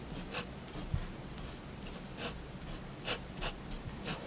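A fine plastic-bodied fineliner pen tip draws on a flat white paper sheet resting on a wooden desk, making steady, light scratching strokes. Soft, bright scratches rise in short bursts over a low, quiet background, with one dull low thump early on.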